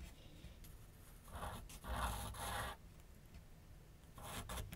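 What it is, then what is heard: Pencil scratching on paper over a board. A graphite pencil scratches outline strokes across a large white paper sheet mounted on a flat board on an easel. Soft, bright raspy strokes come in short bursts, loudest near the middle and again at the end, over a quiet low rumble.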